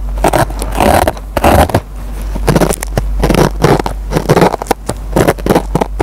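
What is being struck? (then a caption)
Kitchen sponge with green nylon scouring pad. A metal pen tip scratches and picks at the fibers of a dry kitchen sponge with a green nylon scouring pad. Bursts of dry, crackly scraping come in quick irregular clusters over a steady low hum, each dying away almost at once.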